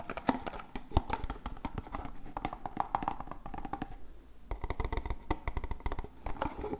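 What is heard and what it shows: Rapid, dry taps and scratches as fingertips and nails work over a small, printed, hollow, closed cardboard medicine box of Voltadol Forte gel, held in both hands close to the microphone. The clicks are dense, short and hollow with a low thudding body. They ease briefly around the four-second mark before picking up again.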